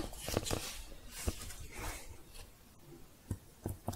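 Long painted fingernails type and tap on the keys of a thin red plastic keyboard cover held upright close to the mic. Sharp, short plastic clicks with low thumps stand out against a steady bed of soft, bright scratchy rustling. A cluster of taps comes early, followed by a quieter stretch and a few more crisp clicks at the end.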